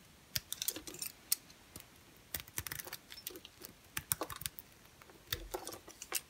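An orange and cream striped bar soap is cut and scraped with a utility knife blade. Quiet, bright, crisp crackles and clicks come in short irregular bursts with pauses between them, each snap dying away at once with no ring.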